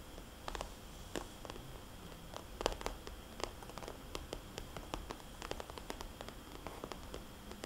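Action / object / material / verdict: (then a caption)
tap / glossy plastic cosmetics bag / plastic / none. A small red polka-dot glossy plastic cosmetics bag, a hollow pouch held upright, is tapped and its dots traced with a fingernail. Quiet, sharp clicks and taps come in an irregular run over a soft, steady hiss with faint rustling. Each tap dies away almost at once.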